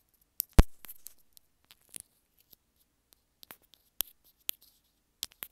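Long nails tap and scratch lengthwise along a small white plastic earphone inline remote held between the fingers. About fourteen short, sharp clicks and light scrapes are spread across quiet gaps, with one louder, duller knock near the start that briefly rumbles low.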